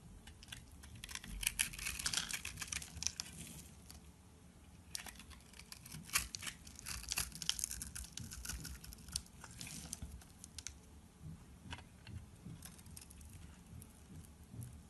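A palm-sized, grid-scored solid purple bar of soap, held in a hand with long painted nails, is scraped with a metal blade so small cubes crumble off. Dense, bright, crisp scraping and crackling comes in bursts, loudest early and in the middle, then settles into quieter, sparser crumbling ticks.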